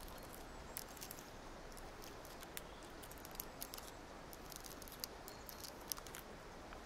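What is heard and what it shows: A small multicolored plastic gear puzzle cube is held in both hands while its layers are rotated and clicked with long nails and fingertips. Short, sharp, bright plastic clicks and ticks are scattered irregularly over a quiet, steady hiss with a low rumble. Each click is very brief and dies away at once.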